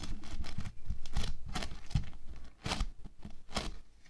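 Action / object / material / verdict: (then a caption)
scrape / foam bead clay log / foam bead clay / none. An orange foam bead clay rolled into a solid log is pressed and rolled under fingertips and palms and rubbed against a table. It gives dense, crackling, crinkly bursts with bright tearing edges over a low, soft rumble, rising and falling in uneven waves.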